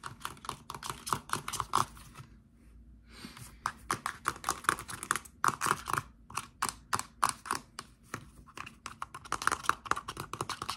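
Fingertips and short nails tap and scratch a hand-sized, dark plastic Axe shower gel bottle, hollow and likely partly full, and its flip cap. The result is dozens of quick, dry, clicky taps with a bright edge and a hollow tone near 1.2 kHz. A brief pause with soft scratching comes early on before the tapping resumes.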